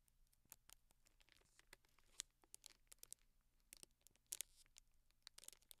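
Fingertips quickly tap and drum on the top surface and edge of a closed rectangular cardboard gift box wrapped in clear cellophane film. The sound is a string of about seventeen short, bright crinkly clicks that die away almost instantly, with a faint low hum underneath.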